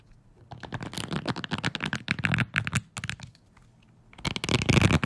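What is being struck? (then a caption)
Wooden hair brush with bristles. Fingertips scratch and flick the bristles of a wooden hair brush, making a fast, uneven run of dry, crackly ticks with bright edges. The scratching goes quiet for about a second, then returns in a denser, louder burst.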